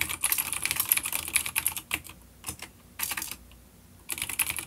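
Fingertips type rapid key taps on a full-size dark grey plastic vintage mechanical keyboard with grey and dark keycaps, an older B-grade unit with clicky blue switches, resting on a wooden desk. Bursts of sharp, bright clicks come in quick runs with brief pauses between them, each tap dying away almost at once with very little low end.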